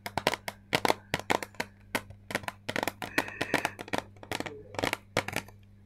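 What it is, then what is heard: Plastic eyeshadow palette. Long painted nails tap a hand-sized, flat rectangular plastic eyeshadow palette with a clear lid over a grid of colored pans, held in both hands. Quick, dry, bright clicks come in uneven bursts, each dying away almost at once, over a faint steady low hum.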